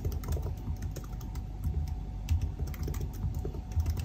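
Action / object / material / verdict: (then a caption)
tap / aluminium laptop keyboard with plastic keys / plastic / none. Bare fingertips of both hands type rapidly on a silver aluminium laptop's black plastic chiclet keys, with the laptop resting on a white desk. The result is a continuous stream of soft, low, thumpy key taps with short, dry decays and faint brighter clicks on top.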